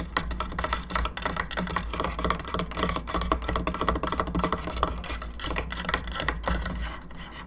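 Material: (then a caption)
Plastic. Long fingernails scratch and tap the jaw and sides of a hollow plastic skull candelabra lamp, making a rapid, dense run of light, bright clicks and scratchy rasps. A steady low hum runs underneath throughout.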